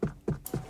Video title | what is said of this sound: Tesla Model 3 Headliner rattle after windshield repair | tap the headliner and locate where the rattle was